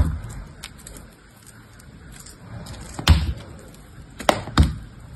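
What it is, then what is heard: Dry soap bar being shaved. A metal box-cutter blade shaves and scrapes pieces off a small, dry, solid soap bar, grey with a blue top layer, held in a soap-smeared hand. Soft, low scraping runs under a few short, dry, crisp cuts with no ring. The sharpest cuts come near the end.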